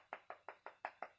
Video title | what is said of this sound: Science Activity: I Feel with my HANDS | with wood you can also knock on it and you can hear it